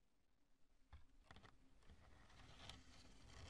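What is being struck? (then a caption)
Chunk of cured polyurethane spray foam. Long nails tap and scratch the bumpy surface of a large, lumpy chunk of cured polyurethane spray foam: light and solid with air cells, cream colored, resting on purple cloth. Quiet, dull taps mix with dry, crackly scratching, mostly low in tone with some brighter scrape, and the sound grows slightly louder and busier toward the end.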